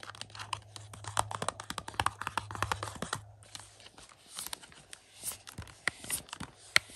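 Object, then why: Thin plastic disc case. Fingertips and nails tap and scratch the surface of a hollow, thin black plastic 4K UHD movie case for 2001: A Space Odyssey, with a paper insert, held and lying on carpet. Quick, dry, clicky taps with crinkly scratching fill the clip, bright and with almost no ring. A low steady hum sits under the first half, and the taps spread out and soften toward the end.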